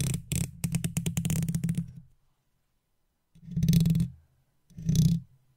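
A wooden toothpick held between the fingertips of long-nailed fingers taps rapidly across the hollow metal mesh head of an uncovered silver microphone, producing a quick run of deep, boomy thumps with a faint bright edge. After a silent pause, the toothpick scratches across the grille in two longer strokes, each swelling into a low, muffled rumble before fading out.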